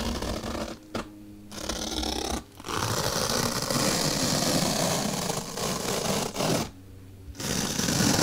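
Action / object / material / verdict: scrape / melamine foam block rubbed with a bristle brush / melamine foam / none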